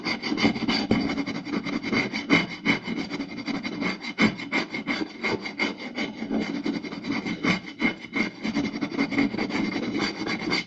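One hand quickly rubs and scratches across the surface of a round, solid wooden plate with its fingertips and short nails. The result is a dense, irregular run of fast scratching strokes with a steady low-mid wooden tone and bright, raspy edges.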